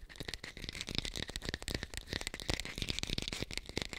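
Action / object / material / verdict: tap / artificial pear / unknown / fake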